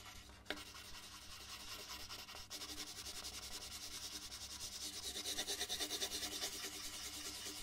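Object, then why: Paper sheet rubbed with a colored pencil. A red colored pencil shades a large white paper sheet on a wooden desk with steady rubbing strokes. The sound is a bright, scratchy rub that pulses in a quick, even rhythm, with a faint tap near the start, and the strokes grow louder and more distinct toward the end.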